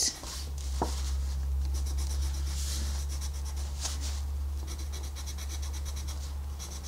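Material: Paper.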